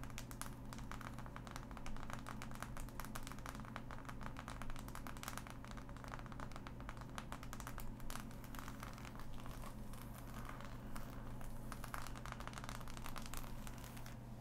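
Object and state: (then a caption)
Cardboard jigsaw puzzle. Fingernail tips tap and scratch along the seams of a flat, assembled cardboard jigsaw puzzle, close up. Quick, dry clicks and scratchy ticks run almost continuously at a soft, even level over a steady low hum.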